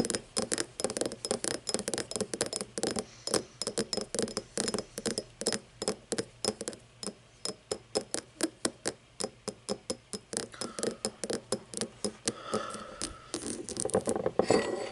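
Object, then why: Cut crystal glass tumbler. Fingernails scratch across the ridged cut pattern of an empty cut-crystal glass tumbler held on its side, producing a rapid ratchet-like series of sharp, bright clicks. Toward the end, the clicks blur into a smoother, brighter scraping before a few final louder clicks.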